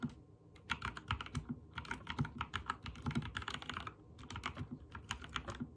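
Fingertips type rapidly on a backlit mechanical keyboard with white and teal plastic keycaps. A fast, uneven stream of short, sharp clacks, each with a dull low thock beneath a bright click, dies away almost instantly between presses.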